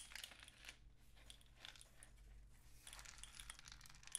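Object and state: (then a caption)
Cardboard rain stick. A long, hollow, painted cardboard rain stick with mesh-wrapped ends is tilted and turned by hand, so the loose grains inside cascade through the tube. The result is a quiet, bright, hissing patter that swells in waves, with faint clicks over a low steady hum.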